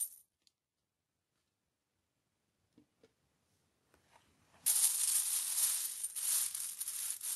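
Fingertips rake and shuffle through a large loose pile of mixed US coins (copper-colored pennies and silver-colored nickels, dimes and quarters) of solid metal resting on a white cloth. A few faint isolated clinks come first. Then a loud, continuous bright jingle of coins clinking against each other takes over and lasts to the end.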